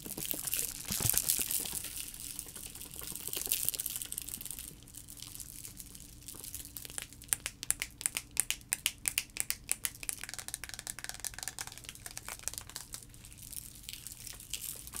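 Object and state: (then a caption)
Liquid-filled plastic sensory tube. A clear plastic sensory tube with blue end caps, filled with liquid and colorful shapes, is shaken and tilted, then tapped and scratched with fingernails. Soft, bright swishing and crinkly scratching open the clip, followed by a run of sharp, rapid clicking taps in the middle. Quieter scratching continues to the end.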